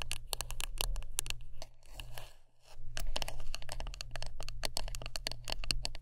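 A wooden brush is tapped and scratched up close: many quick, bright clicks and brushy scratches over a steady low hum. The tapping stops briefly near the middle, leaving a softer rustling scratch, then resumes in dense bursts.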